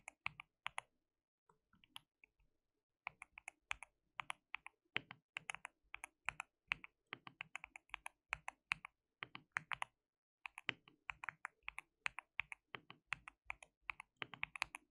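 Fingertips of both hands type on a white plastic mechanical keyboard with translucent keycaps. Quick bursts of bright, short, clacky key clicks with almost no ring-out come in uneven runs, broken by brief pauses near the start and around the ten-second mark.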